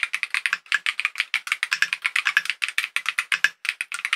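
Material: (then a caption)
Acrylic plastic. A compact KiiBOOM Phantom 68 mechanical keyboard, with a hollow clear purple acrylic case, clear plastic keycaps and tactile switches, sits on a desk and is typed on rapidly with the fingertips of both hands. About 31 quick, bright, clacky keystrokes come in a steady stream, each ending almost at once with a crisp tone around 1.7 kHz and almost no low end.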